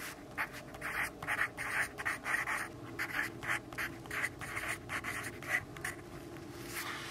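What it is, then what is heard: Pencil writing on a paper notebook page. A yellow graphite pencil writes dense text on the page of an open grid-paper notebook. Quick, scratchy strokes come in uneven bursts, bright and papery, centered around 2 kHz with a faint low hum underneath.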